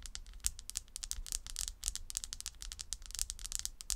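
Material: Wood.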